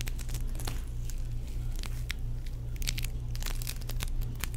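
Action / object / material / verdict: scrape / foam-bead play foam / foam beads / none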